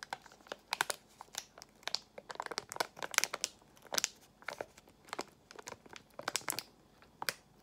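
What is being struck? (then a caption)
Foil-lined plastic gum pouch. A small, partly filled resealable Extra gum pouch made of foil-lined plastic is squeezed and crinkled with long acrylic nails and fingertips. Sharp, bright crackles and crinkles come in quick irregular bursts throughout, with almost no low end and each sound stopping dead with no ring.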